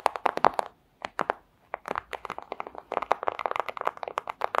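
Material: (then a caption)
Plastic. Long acrylic nails scratch and crinkle a flat, thin clear plastic pouch, making rapid bursts of crisp, dry crackles and ticks. There are brief pauses near the start, then the crinkling resumes steadily. Each snap is short and sharp, centred in the mids with bright edges and no low end.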